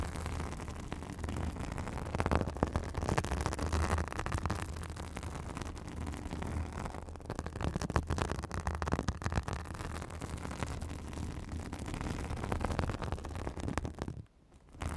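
Long acrylic nails scratch a white, fibrous synthetic bath sponge held over a microphone. The result is a dense, continuous rustling scratch with a heavy low rumble and a steady low hum. The sound drops almost to silence near the end, then briefly resumes.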